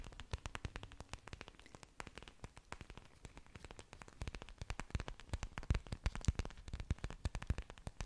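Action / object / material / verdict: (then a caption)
tap / orchid plant leaves / plant leaf / none. Long dark nails scratch and tap the surfaces of an orchid plant's several large, thick, waxy green leaves, with exposed aerial roots, held close to the microphone. A quiet, dense run of short, dry clicks and crackly taps with soft low thumps underneath, each snapping off with almost no ring. The tapping grows louder and sharper in the second half.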